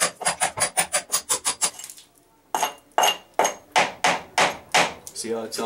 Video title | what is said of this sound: Sunday afternoon in February | sounds Hollow there we'll go right down to the stone